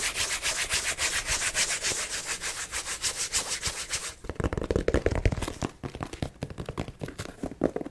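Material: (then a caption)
Nylon fabric. A small, soft, hollow black nylon cosmetic zip pouch is held in the hand and rubbed and scratched with long nails. For the first four seconds there is a fast, steady, bright swishing rub. After that the strokes turn into sharper, uneven scratches and taps with a fuller, lower tone.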